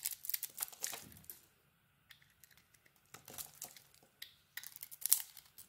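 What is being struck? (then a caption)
Soap bar scraped with a metal blade. A small, solid pink bar of soap with an embossed logo is held in the hand and shaved and scraped with a metal utility blade, exposing pale soap underneath. The clip has bursts of crisp, dry scraping and crackling shavings that are almost all high and bright, with very little low end. The bursts come in uneven clusters, separated by brief near-silent pauses.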